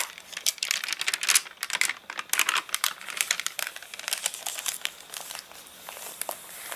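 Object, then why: Paper catalogue with water-dried pages. Fingertips lift a page of an open paper catalogue whose pages are stiff and wrinkled from drying after rain, then a palm presses and rubs across the crinkled sheets. It makes dense, bright crackling and crinkling with many sharp, quick snaps and almost no low end, easing into a softer, steady rustle near the end.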